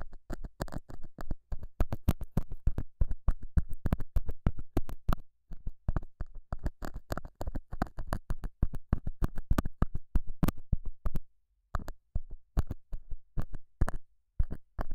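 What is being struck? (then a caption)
Felt pad. A straight pointed metal scaler tip scratches and pokes the surface of a small, solid, square beige felt pad mounted over a small lavalier mic. It makes a rapid, uneven run of short, dull, low-heavy scratches and taps with almost no ring, broken by brief pauses near 5 and 11 seconds.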